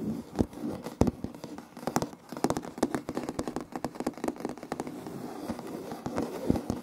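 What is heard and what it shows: Fingertips and short nails scratch and tap on a solid, light wood-grain laminate floor with a plank seam, close to the recorder. A rapid, uneven series of sharp, dry taps with no ring rises over a soft, crackly scratching rustle. The sound has a warm, low-mid body.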